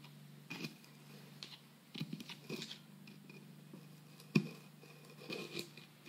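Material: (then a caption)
Plaster. A metal pick digs and scrapes into the solid plaster block of a dig kit around a buried fossil, breaking off crumbly chunks. Short gritty scrapes and crunches are heard over a low steady hum, with one sharp, louder crack near the end.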